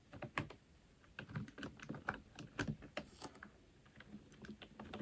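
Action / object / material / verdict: tap / plastic computer keyboard / plastic / none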